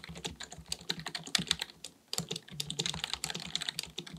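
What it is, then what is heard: Plastic computer keyboard being typed on. Two hands type continuously with their fingertips on a black, full-size plastic keyboard resting on a desk, likely mechanical with a hollow body. Rapid, crisp key taps click brightly with a light hollow thud beneath. The typing pauses briefly around the two-second mark before resuming at the same quick pace.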